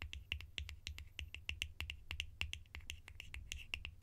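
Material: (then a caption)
Plastic. Fingers or nails tap quickly and sharply on plastic lids for ASMR, producing a fast, irregular run of crisp, bright clicks that stop almost instantly. A low, steady hum sits underneath the tapping throughout.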